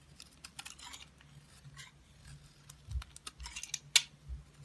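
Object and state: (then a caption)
Bar of soap being cut and scraped. A utility knife cuts and scrapes pieces off a solid black bar of soap held in the hand, with the shavings piling up below. About ten quiet, crisp, bright clicks and short scrapes sound over a faint low hum, the sharpest snap coming near the end.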